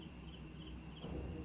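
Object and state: Nothing is struck.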